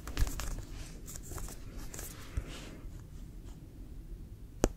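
A full-size, inflated, hollow brown pebbled composite leather American football with a white stripe is held in the hands and tapped and scratched with fingertips and nails. Soft, low, hollow thumps mix with dry scratchy rustling across the pebbled surface. A few sharper taps stand out, the last one at the very end.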